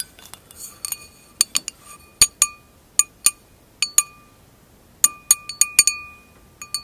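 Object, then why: Glass wine glass. An empty tinted wine glass lies on its side on fur while its thin glass bowl is tapped with long acrylic nails. Irregular bright clinks ring out with clear, high bell-like tones that fade quickly, some lingering slightly longer, against near silence.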